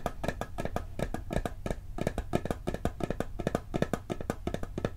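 Fingertips and nails tap quickly on the lid of a round, flat, hollow blue and gold metal cookie tin. The result is a rapid, uneven stream of short, dry taps with a hollow, low body tone and a faint bright click on each strike. Each tap dies away almost instantly with no ringing.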